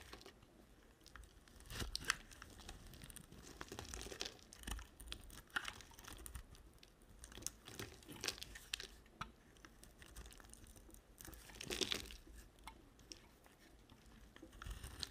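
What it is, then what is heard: Bar of soap being shaved. A utility knife blade shaves curls off a rectangular solid white bar of soap with a red edge. The sound is a quiet, dry, bright crackling and scraping, made of many short crisp bursts with louder swells around two seconds and twelve seconds.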